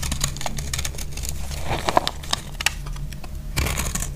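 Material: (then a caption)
Soap. A thin knife blade carves and scrapes into a palm-sized, solid, dry pink soap bar held in one hand with long pink nails, making crumbly flakes that pile up on a grey cloth. Crisp, brittle scrapes and sharp crackly clicks repeat over a steady low hum, with a few brighter snaps standing out near the middle.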